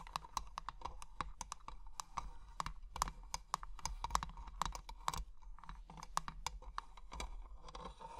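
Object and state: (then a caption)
Metal-framed glass box tapped with nails. Long painted nails tap and scratch quickly across the lid and clear glass sides of a small hollow treasure-chest box with an ornate bronze-coloured metal frame, filled with colourful plastic gems. The result is a rapid, uneven run of crisp, dry clicks with a faint glassy ring and light scratching between them, each tap dying away almost at once.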